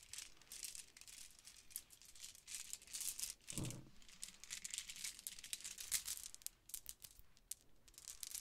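A multicolor pearlescent plastic Mardi Gras bead necklace with hollow round beads is piled in a palm and rubbed with long nails, then lifted and dangled. The result is a quiet, bright, dense clicking and rattling of the plastic beads against each other. A brief lower, fuller rustle comes in partway through.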